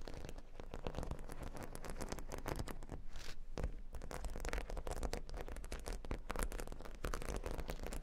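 Long nails rapidly tap and scratch across a square cork board covered with a grid of plastic faux-pearl beads. The result is a dense, steady patter of short, dry clicks and scratchy rasps with no ring, carrying a soft, low-heavy body throughout.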